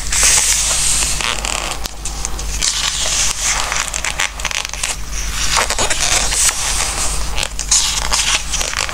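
Fingertips rub across the glossy coated paper pages of a large softcover Christmas craft book resting on a wooden table, then turn and flip the pages. The sound is a steady run of squeaky, crackly, bright rubbing and papery swishes, with a faint low hum underneath.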